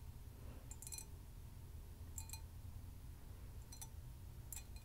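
A hollow, empty hammered copper mug is held in both hands while long nails tap and lightly scratch its dimpled copper surface. The result is quiet clusters of bright, metallic clicks with a brief ring that fades quickly, set against a steady low rumble.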